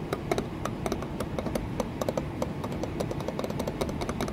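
An embossed green patterned glass pane set in a wooden window frame is tapped and scratched with long nails. A quick, uneven run of light, sharp clicks with a faint glassy ring sits over a low, steady rustle.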